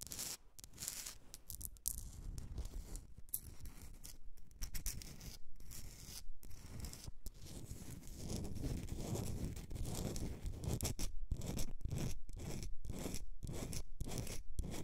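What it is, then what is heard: Salt rock candle holder. Long red nails scratch and tap a hand-sized, solid pink-orange Himalayan salt rock candle holder with a rough crystalline surface, held on a fur rug. The result is a dense, gritty scratching with short, irregular pauses between strokes. The rasping carries a heavy low rumble and grows louder and fuller in the second half.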